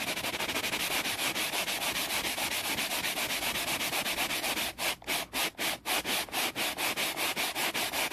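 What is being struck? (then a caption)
Wooden board. A flat, solid, grained wooden board is rubbed quickly with the rough side of a layered scouring sponge held by the fingers. The result is a fast, steady run of bright, scratchy rubbing strokes with almost no low end. About two-thirds of the way through, the strokes briefly break into choppier, separated passes before resuming.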